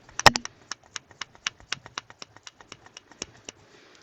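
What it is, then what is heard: Loose filter rattling in a corn cob pipe shank. A Missouri Meerschaum European collection corn cob pipe with a 9mm filter is shaken close up, producing a rapid series of sharp, dry clicks as the loose filter rattles inside the shank. The shank was drilled too deep, so the filter moves freely there instead of sitting snug in the stem as in a standard 9mm filtered pipe, a defect.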